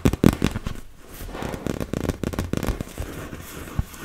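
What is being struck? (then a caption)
Inflatable PVC beach ball. Long red nails tap and scratch across the surface of a large, fully inflated, hollow blue and yellow PVC vinyl beach ball. The result is a rapid series of sharp, dry taps with crackling scrapes in between. The sound is mostly low and hollow, and each tap dies away almost instantly.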